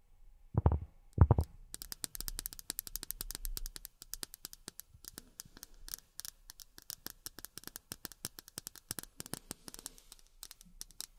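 Long fingernails tap on miniature plastic drinking glasses. Two soft, low thumps open the clip, followed by a rapid, irregular stream of sharp, bright clicks that stop almost instantly with no ringing.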